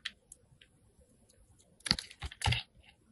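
A solid white rectangular Jergens soap bar, held in the hand, has its surface shaved with a metal box cutter blade. A few faint, bright scrapes come first, then denser crisp, crunchy shaving strokes with a bright edge and a soft low body.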